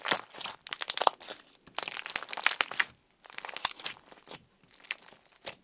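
Clear orange slime is pulled up into a thin sheet, then pressed and poked with fingertips on a table. It makes bright, crinkly, crackling bursts with short snapping pops, broken by brief quiet gaps.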